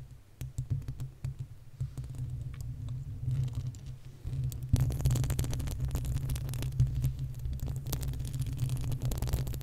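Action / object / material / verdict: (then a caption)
scrape / metal mesh microphone grille / metal mesh / none. Long nails scratch the uncovered, hollow metal mesh grille of a desktop condenser microphone while fingertips drum on top. The result is a dense run of close, boomy low thuds and rumbling scrapes, with faint bright scratching above. Everything grows louder and busier about halfway through.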